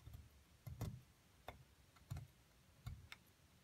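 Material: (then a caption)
Plaster. A small metal pick scrapes repeatedly into a shallow dug-out hollow in a solid white plaster block held steady in one hand, with crumbs gathering on the surface. About six short, uneven scraping strokes are heard, each a dull low scratch with a brief bright tick on top. The strokes die away almost at once between quiet pauses.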